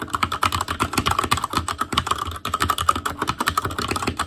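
Fingertips of both hands type continuously on an ASUS ROG Claymore Core mechanical keyboard with Cherry MX Red switches and black plastic keycaps on a metal frame, in a hollow housing with RGB backlight. The result is a rapid, steady stream of short, crisp clacks, each with a slight ringing ping around 1.2 kHz. There is a brief pause partway through.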